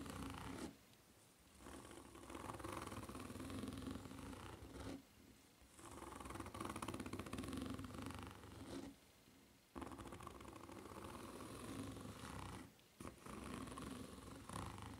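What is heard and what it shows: Long nails scratch the serrated tread of a white foam-rubber flip-flop held upside down with its solid, ridged sole facing up. Dense, raspy scratching comes in bursts of several seconds each, separated by brief quieter pauses, with a steady gritty texture across low and mid tones.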